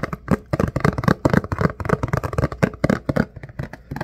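A thin, rectangular clear plastic food container lid is held in both hands, turned, and tapped and scratched with the fingertips. The result is a rapid, irregular run of short, dull plastic taps and scratchy rustles, with most of the energy in the low range and almost no bright top end.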